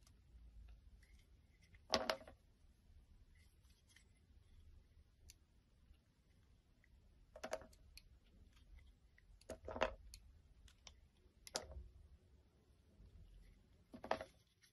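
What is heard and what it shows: A solid pink translucent oval glycerin soap bar, held in the hand, is lightly scraped and cut with a snap-off blade. Quiet, dry scratching and crisp clicking cuts come in short, separated bursts with very little ring, over a soft low background hush.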